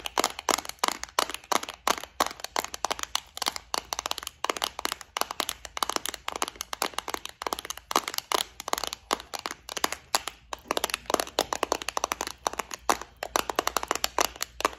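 Long acrylic nails rapidly tap and scratch the lid and compartments of a small, hollow, flower-shaped clear plastic bead organizer filled with gold metal studs and beads. The result is a dense, continuous stream of sharp, bright plastic clicks and crinkly scratches, each dying away almost instantly, with no low-end weight.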